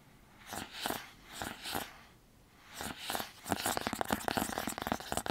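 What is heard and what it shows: A small, hollow, white printed cardboard earbud box is held in both hands and tapped and scratched with fingertips and nails. Slow, soft scratching strokes swell and fade over the first few seconds, then give way to a quick run of dry, hollow taps and scrapes with a bright papery edge.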